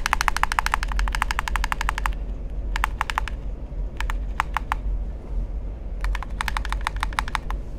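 Fingertips tap the shell and buttons of a hollow black plastic gamepad held in hand, making quick, dry, bright clicks. A fast run of taps is followed by a pause, then scattered small clusters of taps and another fast run toward the end, all over a steady low rumble.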